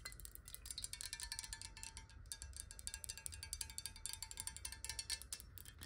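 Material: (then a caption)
Glass. Long acrylic nails tap rapidly on a clear, square, hollow glass water bottle that is partly filled with water and held in the hands. The result is a quick, steady stream of bright, high, chime-like clicks with very short ring, over a low rumble and a faint sustained tone.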